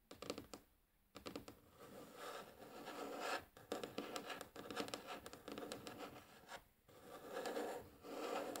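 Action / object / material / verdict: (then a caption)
scrape / wooden tabletop / wood / none. Long polished nails and fingertips tap and scratch across a light, solid wooden tabletop. Quiet, dense scratching comes with a dry midrange texture and brief taps, broken by short pauses near 1, 3.5 and 6.8 seconds.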